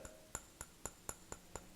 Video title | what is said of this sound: Dead Sea Stone Art Carved Design Three Rest Deep Well Ashtray | definitely has the sound of a stone when you tap on it